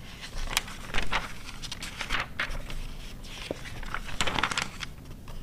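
Long nails and fingertips turn, rub and scratch the thin coated pages of an open glossy paper car magazine from 2009. Short crinkles, bright scratches and soft papery swishes come in quick, uneven bursts over a low background rumble.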